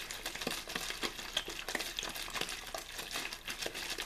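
A clear, thin plastic water bottle with a blue label, hollow and apparently empty, is held in the hand, shaken and squeezed so it crinkles. The result is a steady run of bright, crackling plastic crinkles with quick, dry pops and almost no low end.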